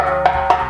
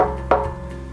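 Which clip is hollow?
The first.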